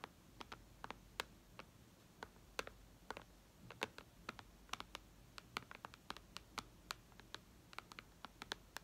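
Long red nails tap on the glass touchscreen of a white iPad lying flat, making quiet, sharp, bright clicks. About 35 separate taps fall at an irregular pace over a faint low hum, each dying away almost at once.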